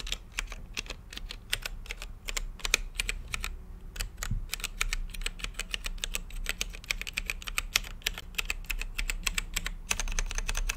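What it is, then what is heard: Plastic mechanical keyboard. Fingertips type steadily on an RGB-lit mechanical keyboard with plastic keycaps and a clear acrylic case. Dozens of short, sharp clicks crackle with a bright edge centered around 2.5 kHz, each one dying away almost instantly, over a steady low rumble.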